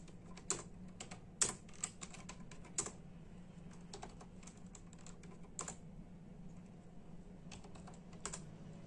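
Bare fingertips of both hands tap sparsely on a full-size black and silver plastic membrane keyboard with hollow keys. The irregular, bright, clicky keystrokes vary in strength, with a few sharper louder presses, over a steady low hum.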